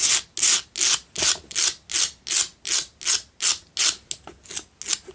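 Long pale-blue acrylic nails scratch around the rough sides of a fist-sized pink Himalayan rock-salt candle holder, a solid block with a hollow candle well on top, lit from inside and standing on a dark cloth. Brisk, bright, hissy scrapes repeat at a steady rhythm of nearly three strokes per second, each fading quickly. The last few strokes come shorter and quicker.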